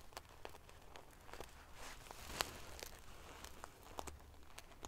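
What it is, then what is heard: Metal-sequin pillow being scratched. Long nails scratch across the rows of silver metal pieces covering a large padded pillow made of metal-sequin fabric. It makes a quiet, continuous crinkly rustle dotted with sharp, bright clicks and ticks over a faint low rumble.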